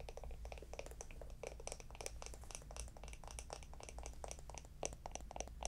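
A small, hollow, round wooden jar with a lid is held in the hands and tapped and scratched with long acrylic nails. Rapid, dry clicks and scratchy taps with bright edges come in quick, uneven bursts, each dying away almost at once. A steady low hum runs underneath throughout.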